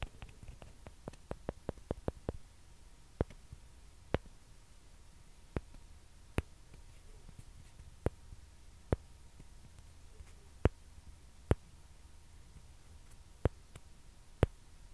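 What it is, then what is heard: Plastic ping pong ball. A small hollow white plastic ping pong ball is held and scratched and tapped with long dark-painted nails, with a second identical ball appearing at the end. A quick run of light, sharp clicks in the first couple of seconds gives way to sparser, crisper single taps spaced about a second apart. Each tap is very short against a quiet, low background rumble and a faint soft scratching.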